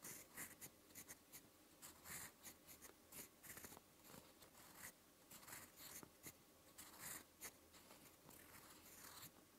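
A metal fountain pen nib with blue ink writes slowly on a lined white paper notebook page. Each slow stroke gives a quiet, bright, scratchy hiss. The strokes come in short separate bursts with little low end and almost no ring after each one.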